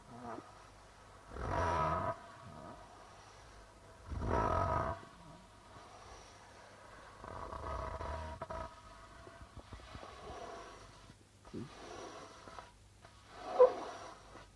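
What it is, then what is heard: Plastic-headed darbuka drum. A hand slowly rubs and taps the white plastic membrane of a hollow darbuka drum. Soft, breathy swells of rubbing build and fade across the head, separated by quiet stretches. Light taps come between them, ending in a sharper tap near the close.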